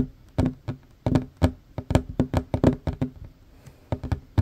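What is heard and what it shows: Fingertips and short nails tap fast on a solid wooden tabletop, first with both hands and then with one hand. Sixteen short, dull knocks come in uneven bursts, each a low thud with a faint hollow tone near 250 Hz that dies away almost instantly.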